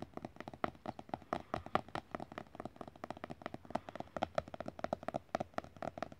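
Fingertips rapidly tap and lightly scratch a glossy printed painting page in an open art book. Dozens of short, dry, soft taps with a midrange tone follow closely on one another, mixed with faint papery scratching and no ringing.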